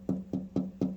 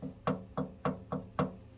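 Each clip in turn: First: Short, firm knuckle knocks around 190 Hz on a steel gas tank; this spot sounds solid, bare metal. Second: Five low knuckle knocks on a motorcycle gas tank give a short, hollow boom rather than a solid thud.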